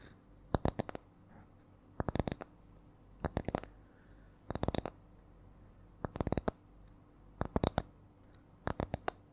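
Long nails tap and scratch close to the mic on a small, round, flat spiral wooden coaster with coiled rings. Seven clusters of quick, dry, clicky taps come at an uneven rhythm. Each tap is short and bright with no ring, set against a quiet low background hum.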